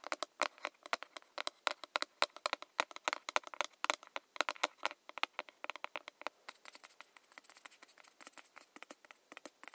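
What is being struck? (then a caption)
Metal lid of a round lotion jar. Long nails tap rapidly on the printed metal lid of a round body lotion jar, striking the lid top. The taps are short, dry and bright, with no ring. After about six seconds they turn softer and more rapid.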